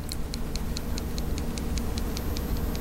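A closed CRKT BT Fighter folding pocket knife, with a steel blade in a glass-filled nylon handle, is shaken near a microphone. Its blade rattles with about 13 quick, light ticks over a steady low background hum. The ticking comes from loose play at the blade tip, a fault serious enough that returning the knife is being considered.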